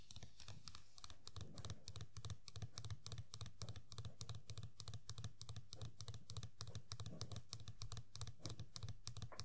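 Long nails tap and scratch the large hollow head and sculpted green hair of a small Sailor Pluto Funko POP vinyl figure sitting on a table. The tapping is quick and uneven: crisp, bright clicks over a low, hollow thump, each dying away almost at once, with soft scratching between the taps.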